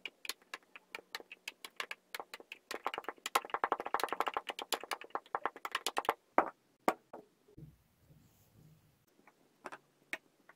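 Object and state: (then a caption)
Kinetic sand tamped in a glass. Blue and green kinetic sand pieces are pressed and tamped down inside a stemmed clear glass with a wooden muddler. Quick, dry, short taps come in a steady run that grows dense and busy in the middle, then thins to scattered knocks with a soft low rumble near the end.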